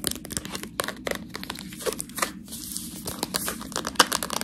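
Long nails tap and scratch along the side of a full, clear plastic bag of fresh tortellini held edge-on. The result is a quiet, dense run of bright, crinkly crackles and short dry ticks, with one sharper tap near the end.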